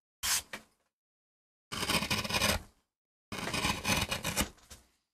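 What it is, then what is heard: MDF printing block being carved. A small steel gouge cuts repeated short strokes into a flat, solid MDF relief printing block while carving a rose design, piling up curled MDF shavings, played back at double speed. Bright, dry scraping and gouging comes in bursts: a couple of quick short strokes, then two longer stretches of rapid rasping strokes separated by silence.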